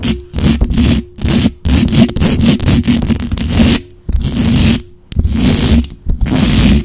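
Long acrylic nails scratch up and down the hollow metal mesh grille of a black condenser microphone. The result is a run of fast, rough rasping strokes with a heavy low boom and a faint steady hum, separated by brief gaps between bursts.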